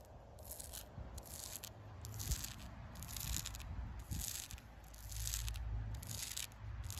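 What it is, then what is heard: Scratching tree bark. Long pink acrylic nails scratch and rake across the ridges of rough, deeply furrowed bark on a solid, living tree trunk outdoors. Repeated dry, bright scraping strokes come in steady bursts over a constant low rumble of outdoor background noise.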